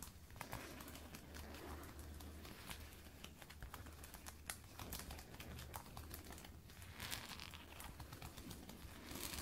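Long red and black nails scratch and tap along the shaft of a glossy black lace-up faux leather thigh-high boot, worn on the leg so the material is soft over a solid leg. The result is a steady, quiet run of crinkly, rustling scratches broken by many short, sharp ticks, over a low hum.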